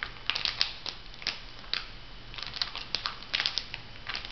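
Hands bend and crinkle a flat, printed, filled foil sheet-mask packet. It gives a series of sharp, bright crackles and crinkles over a faint low hum, each snap short and dry.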